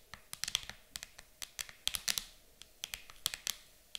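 Long acrylic nails tap quickly on the lid of an empty, transparent hard plastic game case lying flat. The taps come in an irregular, typing-like rhythm of sharp, bright clicks with almost no low end and no ring, separated by quiet gaps.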